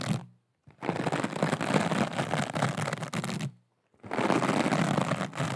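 Long acrylic nails scratch and tap a small, soft, flexible aqua rhinestone mesh pouch, making a dense, rapid, crackly rattle. The sound comes in a brief opening burst and then two longer stretches, separated by short silences.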